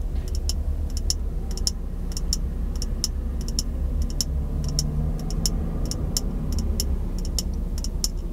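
A small, empty, hollow clear glass jar is held in both hands while fingertips and nails tap on the glass. The taps come as quick, bright, clicky ticks in short clusters, with almost no ring. They sit over a steady low hum.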